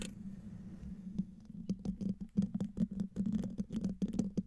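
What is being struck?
Metal mesh microphone grille.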